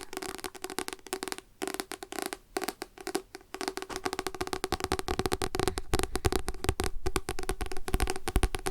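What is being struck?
Paper book.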